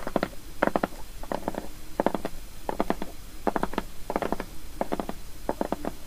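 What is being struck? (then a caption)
Large flat shrink-wrapped cardboard box. Long nails on both hands tap the top of the same large, flat, closed and shrink-wrapped cardboard box lying on a wooden table, then fingertips scratch and tap along its side edges. Quick, dry taps come in short clustered bursts with a hollow, papery mid-range tone, separated by brief soft scratching and a faint steady hiss.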